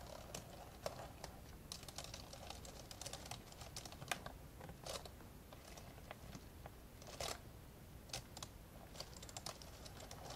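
Two hands type with their fingertips on the plastic keys of an old, open, dark grey plastic laptop. The result is a quiet, irregular stream of short, dry, bright clicks, with a few sharper taps standing out over a faint low rumble.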